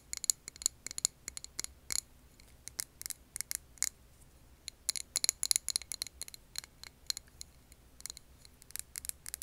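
Long nails tap rapidly and irregularly on a clear glass jar filled with green wax candle. The taps are sharp, bright clicks with a faint high glassy ping that dies away almost instantly, over a quiet, steady low hum.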